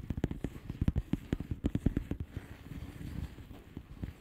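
Long nails on both hands tap quickly across the bubbles of a flat blue plastic bubble wrap envelope. The taps are soft, dull and low with no ringing, starting as distinct clicks and blurring into a denser, quieter patter toward the end.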